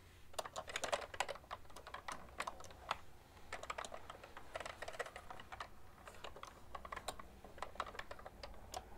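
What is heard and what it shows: Fingertips and long painted nails type continuously on a full-size cream plastic ergonomic keyboard with hollow keys. Quick, dry, bright taps come in rapid bursts separated by brief pauses, each one dying away almost instantly. A faint, steady low hum sits underneath.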